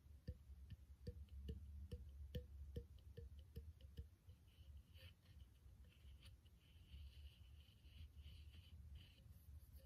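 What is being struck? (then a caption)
Small clear plastic spray bottle. A small, empty clear plastic spray bottle with its cap removed and threaded neck exposed is held in one hand and tapped with the fingertips of the other. For the first four seconds, dull, low, hollow taps come in a steady, evenly spaced run. The tapping then turns quieter and more irregular, with a faint brighter rustle over it.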